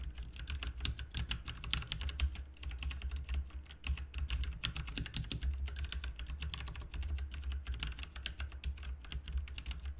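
Fingertips of both hands type continuously on a full-size backlit mechanical RGB keyboard, with plastic keycaps on a hollow plastic and metal case. The result is a dense, rapid stream of short, bright clicks and clacks that die away almost instantly, over a steady low hum.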